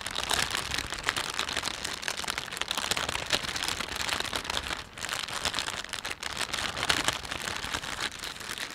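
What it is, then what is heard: Thin plastic shopping bag being crinkled. Thumbs rub and stretch the film of a thin, empty plastic panda shopping bag, making a dense, continuous crinkle. The crackling is bright and papery with little low end, steady throughout apart from a brief lull just before the five-second mark.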